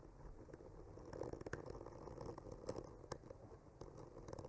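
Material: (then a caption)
Wood. A bamboo skewer slowly traces and scratches across a solid wood panel painted with trees. The result is a quiet, continuous scratchy rubbing with a soft low rumble, broken by occasional brief, brighter ticks as the tip catches the surface.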